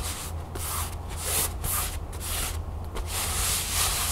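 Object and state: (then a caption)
Canvas pouch. Long fingernails scratch and tap on a flat, empty cream canvas pouch lying on a table. Bursts of bright, hissing fabric scratching come and go over a steady low hum, with soft taps mixed in.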